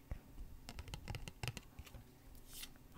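Long nails tap quickly on the edges and face of a single small, thin, glossy cardstock Pokémon trading card held upright between both hands. The result is a quiet, irregular run of short, dry clicks and light ticks that die away almost instantly.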